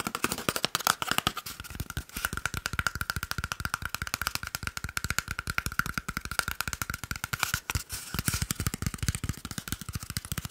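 An empty, hollow, hand-sized brown cardboard toilet paper roll tube is held in one hand and quickly tapped with the fingertips and short nails of the other hand. A rapid, steady stream of short, dry, hollow taps carries a faint ringing tone near 1.35 kHz, with bright clicky edges from the nails. Each tap dies away almost instantly.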